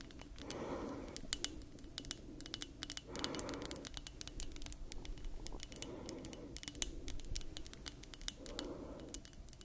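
Long nails tap and scratch a small clear glass perfume bottle with a thick neck and a metal ring detail, held in both hands. Quick, sharp, bright clicks run throughout, broken by four soft, rushing scratch strokes that rise and fade at regular intervals. The taps are dry and very short, with almost no ring.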